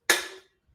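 An empty drink can, just finished, is set down in a single hit. It gives a bright, hollow metallic clank with a ringing tone near 1.7 kHz that fades within about half a second. The can is now empty.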